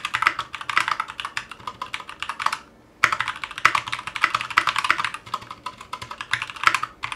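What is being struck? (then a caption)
Mechanical keyboard with ABS plastic keycaps. Fingertips of both hands type continuously on a 60% Clueboard mechanical keyboard with Zealios V2 62g switches, a metal case and GMK ABS plastic keycaps, resting on a cutting mat. Rapid, sharp clacks with a bright, mid-high click and almost no low thump run steadily, broken by one short pause near the middle before the typing resumes.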